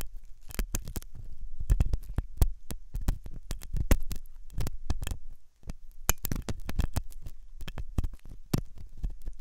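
A steel dental tool, sometimes double-ended, scratches inside the ear canal of a white, solid, soft silicone ear on a binaural microphone. Dense, close scraping and tapping rub against the mic, giving heavy low thumps and rumble with brief bright clicks. The short contacts come in rapid, uneven bursts, with a brief quiet gap midway.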